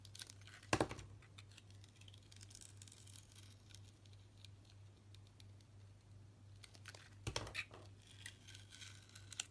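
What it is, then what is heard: Soap bar being shaved with a blade. A utility knife blade shaves the sparkly green outer coating off a solid red translucent soap bar held in the hand. Dry, scratchy scraping and crackling run throughout, with two louder, brighter scrapes near the start and toward the end, over a steady low hum.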